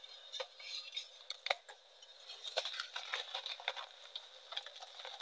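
A palm-sized, solid heart-shaped block of reformed light gray gym chalk (magnesium carbonate) is cracked and crushed into crumbly chunks by bare fingertips and hands over a dark surface covered in chalk powder. Dry, crisp crackles and gritty crunches come in quick irregular bursts, bright and thin with no low end, each snap dying away almost instantly.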